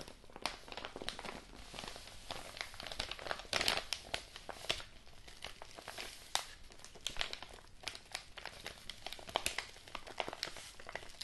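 Fingertips and nails squeeze and crinkle a large, apparently empty, yellow kraft-paper padded mailing envelope. The result is a dense, continuous run of crisp, bright crackles and rustles with short, sharp peaks and little low-end weight.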